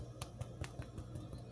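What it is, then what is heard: Baked-through bread loaf (hollow). A freshly baked cheddar bread loaf with a golden crown is thumped repeatedly, giving soft, low, slightly hollow thuds that die away quickly. The hollow sound means the loaf is done baking.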